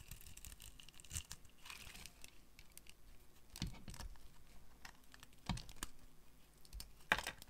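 A metal blade scrapes and carves flakes from the face of a hand-sized, orange bar of dry soap. Quiet, dry scraping and crinkling runs throughout, with brief crisp, bright cracking bursts as the blade bites into the bar.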